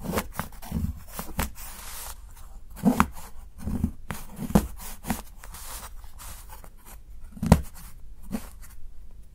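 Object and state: Dark chocolate bar.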